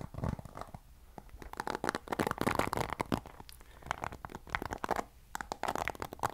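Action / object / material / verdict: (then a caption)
scrape / plastic paddle hairbrush with plastic bristles / plastic / none. Fingers scratch and strum the bristles of a black plastic paddle hairbrush held by its handle. The result is quiet, dense bursts of dry, crackly ticking and scraping, centered in the midrange, with brief lulls between strokes.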